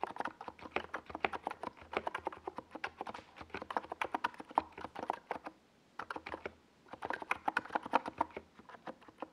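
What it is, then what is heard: Plastic mechanical keyboard being typed on. Both hands type with the fingertips on a compact 68-key NiZ Plum Atom 68 mechanical keyboard, which has a hollow white plastic case and purple and yellow plastic Domikey Gas Attack SA keycaps and rests on a desk pad. Fast, short, hollow clacks centred around 900 Hz stream steadily, with a brief pause near the six-second mark and another shortly after.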